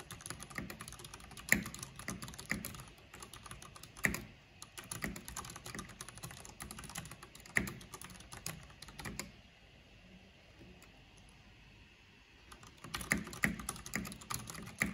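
Both hands with long nails type on a black plastic backlit mechanical keyboard with hollow plastic keycaps. Fast, bright clicking keystrokes come with a few sharper, louder taps. The typing pauses into near silence partway through, then resumes.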